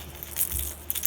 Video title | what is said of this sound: The Strike King Sexy Dawg | It's a tinny sound, a very tinny BB sound